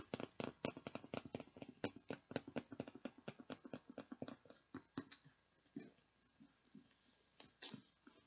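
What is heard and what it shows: Long nails tap and scratch the printed plastic lid and sides of a clear plastic tub with a blue handle, partly full of beads. A quick, uneven run of dry, clicky taps fills the first five seconds, then slows to sparse, softer taps and light scratches. Each tap stops almost at once, with no ring.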